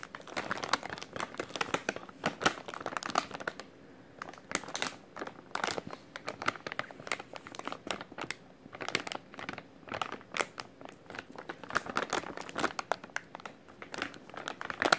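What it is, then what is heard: Plastic packaging pouch crinkled. A white plastic-film packaging pouch with printed text is held in both hands while the fingers squeeze and crinkle it. Dense bursts of dry crinkling and sharp crackles reach into the high range with almost no low end, easing briefly around the four-second mark before resuming steadily to the end.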